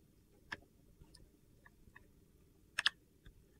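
A metal box-cutter blade scrapes and slices thin curls off a solid, hand-sized, rectangular purple-and-white marbled soap bar held in one hand. The cuts come as a few quiet, crisp, high-pitched clicks and ticks, with a sharp double snap near the end, each dying away almost instantly.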